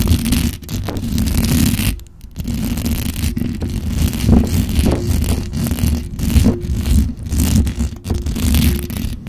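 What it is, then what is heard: Metal microphone grille scratched. Long dark-red acrylic nails on both hands fast-scratch the hollow metal mesh grille of a black condenser microphone. The result is a dense, continuous, heavily bass-weighted scraping rumble with rapid rustling texture and little high end. It dips briefly near the two-second mark before resuming at a steady level.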